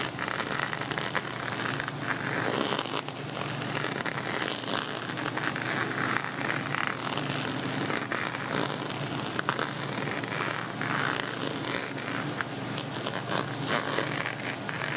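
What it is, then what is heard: Plastic beaded cosmetic pouch being scratched. A plastic beaded cosmetic pouch in a pixel-envelope style, held by its top edge, has its bead-covered face scratched by fingertips and nails. The result is a steady, dense crackling and rasping texture, bright and noisy across the range with little low end, holding at an even level for the whole clip.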